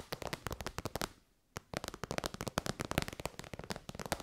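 Long white nails tap rapidly on an elongated, shiny pink metallic faux-leather pouch made of soft, hollow synthetic material. About 24 quick, dry, crackly taps with almost no ring come in two bursts, split by a brief pause near the middle.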